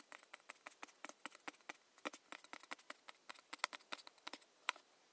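Long nails tap the top of a round body lotion jar's printed metal lid in an irregular, quick series of 26 light taps. Each tap is a sharp, dry, bright click with a mid-high tone and almost no ring, with a few louder taps near the end.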